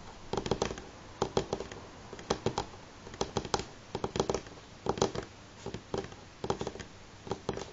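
Fingernails of both hands tap fast on a solid light pine tabletop, making quick bursts of dry, clicky taps with a woody knock around 390 Hz. Each tap dies almost at once, and the taps come in rapid clusters separated by brief pauses.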